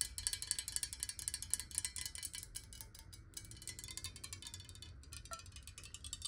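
Long nails tap fast on a clear, square, hollow glass water bottle that is partly filled with water. The result is a rapid, uneven stream of sharp, bright clicks with a glassy high ring. A soft low rumble runs underneath, and there are brief gaps near the middle and toward the end.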